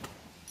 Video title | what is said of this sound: 干姐姐出手大方，豪送价值五万元的大头，还是大珍版本【小闫打铁镯】 | o som de prata e cobre não é o mesmo